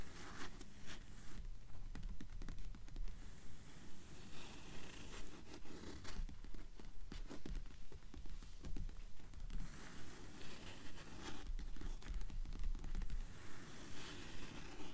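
Long fingernails tap and scratch the paper pages of an open blue paperback book lying on a table. Soft, fairly steady taps and papery scrapes repeat quickly, about two per second, over a dull low thump from the table. Each sound stops almost at once, with no ring.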